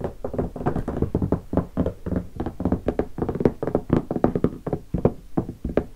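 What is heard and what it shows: Fingertips rapidly tap the top of a closed, hollow guitar hard case covered in black leatherette and stickers, lying on carpet. It makes a fast, uneven run of dull, hollow knocks with a low-mid body and almost no bright content. Each tap dies away almost at once.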